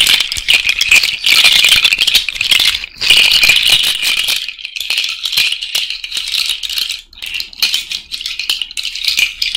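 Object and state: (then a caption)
Cowrie shell bracelet. A cowrie shell and bead bracelet is shaken and rubbed by hand close to the microphone. It makes a dense, bright rattle of clicking shells and beads, almost entirely high in pitch with no low end. The sound runs fairly steadily, with brief quiet dips around three and seven seconds.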